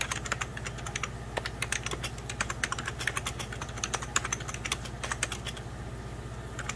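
Fingertips with medium pink nails type rapidly on the keys of a beige plastic 1990s Packard Bell computer keyboard. A fast, uneven stream of short, bright clicks and clacks rides over a steady low hum.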